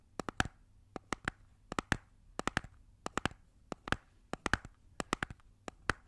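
A small, hollow, round red plastic compact-style cosmetic case is held in both hands and tapped and scratched around its sides and lid with long nails and fingertips. About 25 sharp, dry taps land in quick clusters of two to four, some followed by brief scratchy brushes. Each tap dies away almost instantly over a faint low hum.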